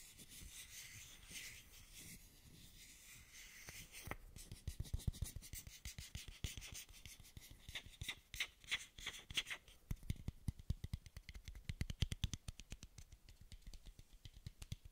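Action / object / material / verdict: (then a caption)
scrape / small translucent plastic dose cap / plastic / none. A small, hollow, empty plastic dose cap made of frosted translucent plastic is rubbed and scratched with fingers and nails. It opens with a soft, steady rubbing hiss, then shifts into a rapid run of quick, dry scratches and light ticks with bright, crisp edges and a faint low thump under each stroke. The strokes die away almost instantly.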